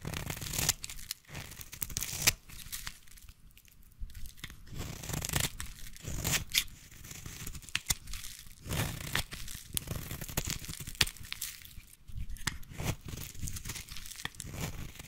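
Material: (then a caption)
Soap. A small blade shaves the edge of a solid orange bar of soap held in the hand, peeling it into thin curls. Repeated dry, crisp scraping and tearing strokes come in quick bursts, bright and crackly with a soft low rustle beneath and no ring after each stroke.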